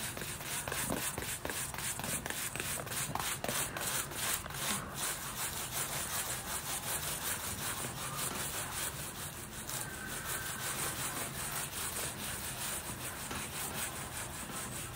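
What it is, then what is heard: Fabric boot being scrubbed. A small wooden-handled bristle brush scrubs over the upper of a black textile Nike high-top boot worn on a foot and wet with cleaning foam, for a deep clean. It makes a steady run of brisk, slightly uneven back-and-forth strokes, about two or three per second. The scrubbing is a bright, bristly rasping hiss over a soft low rumble.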